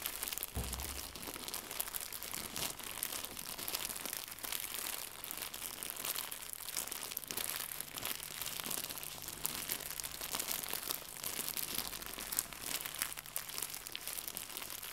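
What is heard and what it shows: Fingertips crumple and crinkle a small white translucent pack of plastic packaging film. A dense, steady stream of bright, crackling crinkles runs through the whole clip at an even level, with a faint low hum underneath.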